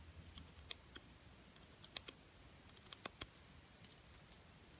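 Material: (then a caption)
Plastic. A small, solid plastic butterfly ornament coated in silver and gold glitter is held in the hand and tapped and scratched with long painted nails. Quiet, sharp, bright clicks come at irregular intervals over a soft, faint scratching. Each tap dies away almost instantly.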